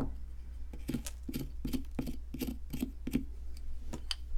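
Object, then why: Plaster fossil excavation block. A solid white plaster ammonite fossil excavation block, held by hand, is scraped with a wooden-handled metal chisel, and powder crumbles off. Short, dry, gritty scraping strokes repeat in quick, uneven succession over a steady low hum, each stroke brief with almost no ring.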